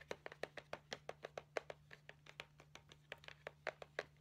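Long painted nails tap and scratch the front of a flat, rectangular See's Candies cardboard box with a Christmas stocking print, held upright. About 24 short, dry clicks come at an uneven, fairly quick pace, each with a hollow mid-pitched knock and a bright edge, over a faint steady low hum.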